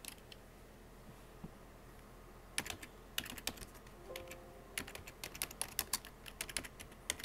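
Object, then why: Plastic computer keyboard keys. Fingertips with painted short-medium nails tap rapidly on the hollow plastic keycaps of a full-size black plastic computer keyboard. After a mostly quiet start with a few isolated taps, bright, crisp clicks come in quick irregular bursts from about two and a half seconds on, each tap dying away almost instantly over a faint steady hiss.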